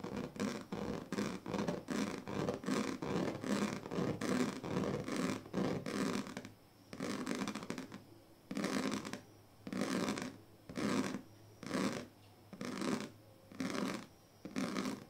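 The teeth of a pink plastic comb are scratched across the strips of a large, flat woven plastic sleeping mat. Quick, raspy strokes run close together for the first six seconds or so, then slow into separate, longer scraping passes with short quiet gaps between them.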